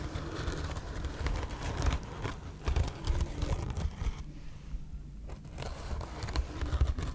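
Long red nails scratch across a soft, hand-sized, cream-colored rectangular bath sponge made of woven textile with a coarse woven fiber surface. The result is a steady stream of dry, crackly scratching and crinkling over a heavy low rumble, easing into a quieter stretch around the middle before picking up again.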